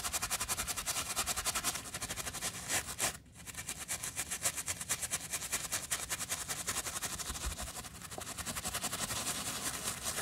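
A wooden bristle brush scrubs soapy foam in short strokes over the woven textile tongue and lace area of a white fabric sneaker, held by a gloved hand. The steady, fast, bright scratchy strokes pause briefly around the three-second mark, then continue.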